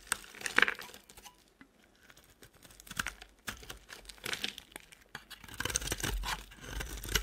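A utility knife blade scrapes and shaves the edges of a solid, rectangular, cream-colored bar of soap held in the hand. The result is a series of crisp, bright, crinkling scrapes with short dry cuts and brief quiet pauses between strokes.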